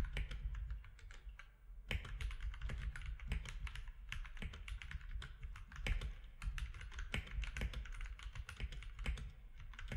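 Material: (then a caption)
Plastic. Fingertips of both hands type rapidly on a compact mechanical keyboard with grey, white and orange plastic keycaps and a grey frame. The result is a steady stream of quick, bright plastic clicks and clacks that stop short, over a constant low hum.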